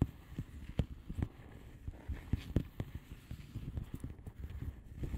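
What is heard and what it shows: Long manicured nails of both hands tap and scratch a flat blue plastic bubble wrap mailer envelope with air-filled bubbles. The result is a quiet, irregular run of soft, dull, low taps with very short decay and faint scratchy texture between them.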